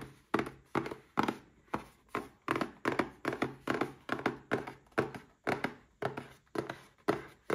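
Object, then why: Small cardboard box with a glass inside. A small red cardboard gift box holding a Paladone Mario Kart glass is held in one hand and tapped with the fingertips of the other. The taps come as a quick, uneven run of dull, hollow thunks, each short with a brief tail.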